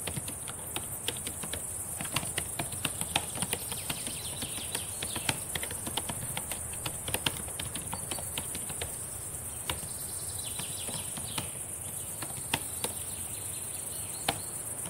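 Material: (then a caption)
Plastic. Long painted nails and fingertips type on the plastic keys of a black laptop keyboard, producing a quick, irregular stream of light clicks and taps. Occasional sharper, louder clicks stand out over a steady, bright hiss.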